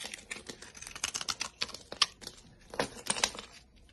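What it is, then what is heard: Bar soap being shaved. A utility-knife blade shaves flakes from the face of a solid, dry, olive-green olive oil bar soap embossed "Pirina Dalan." It makes a quick series of short, crisp, bright scraping and crackling strokes with almost no low end.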